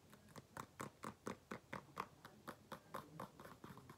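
Fingernails tap the outside of the upper on an empty black faux leather flat shoe with a beige insole. Seventeen soft, dry ticks fall in a steady, slightly uneven rhythm, each stopping almost at once with a light tone around 1 kHz. The tapping stays quiet throughout.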